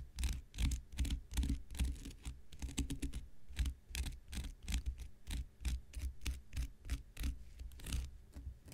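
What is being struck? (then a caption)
Cellulose sponge scraped with a knife blade. An X-Acto knife blade scratches the surface of a thick, hand-sized, light blue porous cellulose sponge held in the hand. Quick, loosely rhythmic scratching strokes repeat throughout, each a bright, crackly rasp over a soft, low thud. The strokes are short and dry, with no ring after them.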